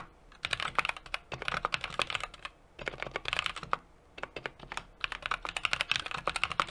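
Fingertips of both hands rapidly tap the keys of a small 60% mechanical keyboard with an aluminum case, brass plate and plastic keycaps. Crisp, bright, short clacks come in quick bursts of typing separated by brief pauses.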